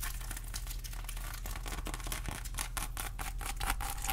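Long acrylic nails scratch over the rind and crown of a whole pineapple, making a rapid stream of dry, crackly scratches with bright, sharp bursts. A steady low hum runs underneath the whole time.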